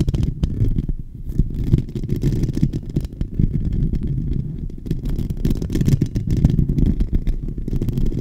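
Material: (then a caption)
Metal mesh. Fingertips and nails from both hands scratch continuously over the hollow metal mesh dome grille of a silver microphone. The result is a steady, dense, crackly rumble concentrated in the low end, with almost no high content and many quick, closely packed scrapes that blur into one another.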